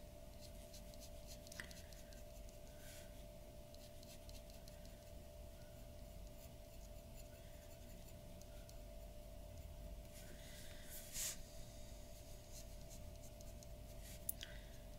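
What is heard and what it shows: The nib of a glass dip pen scratches across a large flat sheet of white drawing paper on a wooden table in repeated ink strokes. Faint, dry scratching runs throughout over a steady low hum with a constant tone near 600 Hz. A few sharp ticks and a brief bright squeak stand out near the end.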